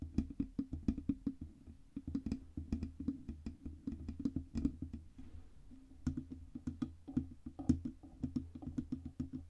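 Long red-painted nails rapidly tap and scratch the sides of a black Blue Yeti microphone, a hollow metal cylindrical body on a stand with a fluffy windscreen on top. A quick, irregular stream of dry, woody-sounding taps has a low, hollow body thump and very short ring. A brief soft scratching passage comes near the middle before the tapping resumes.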